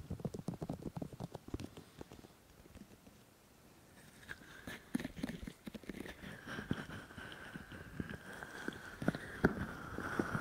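Both hands press and rub the white silicone ears of a 3Dio microphone with palms and fingers. The result is a dense run of soft, muffled thumps and rubbing noises that quiets briefly in the middle and then returns, with a faint steady midrange tone and brighter friction over the second half.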